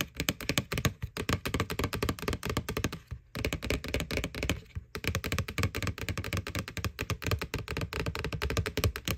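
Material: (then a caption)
Plastic. Long nails tap rapidly on the side wall of a small, hollow, white plastic ghost-shaped Halloween candy bucket from McDonald's, over its printed face. The taps are quick, dull, hollow knocks with a clicky edge and almost no ring. They run in dense bursts, with brief pauses around 3 and 5 seconds.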